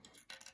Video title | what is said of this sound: How Self-Locking Switches Work | the reason it shakes is because this part is locked up here so now that little free moving piece is free to shake